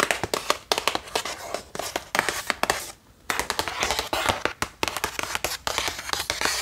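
Long painted fingernails tap rapidly across the face and edges of a closed, flat printed cardboard box of 36 watercolor brush pens that appears full. The taps are bright, dry clicks with scratchy hand sounds between them, and there is a brief pause near the middle.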